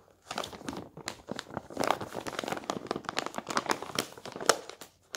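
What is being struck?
Newspaper paper.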